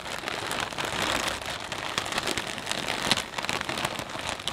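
A medium transparent plastic snack bag full of potato chips is gripped and squeezed with the fingertips of both hands. The plastic film crinkles and the chips crunch in a steady stream of bright, crackling bursts with very little low end.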